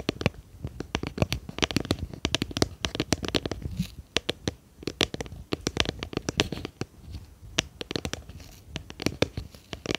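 A small round, clear plastic tub with a lid, hollow and apparently empty, is tapped and scratched with long painted fingernails behind a microphone. The result is a dense, irregular stream of sharp, dry clicks and scratchy rustles with a bright edge and almost no ring.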